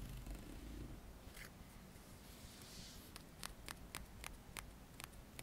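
A dark plastic hair comb, about 20 cm long, solid with fine teeth, is held in both hands while its teeth are flicked and strummed with the fingertips. A low rumble and soft brushing open the clip, then eight sharp, bright clicks ring out at uneven intervals, each dying away almost instantly.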